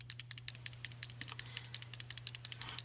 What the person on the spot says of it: you can hear that little mixing ball in there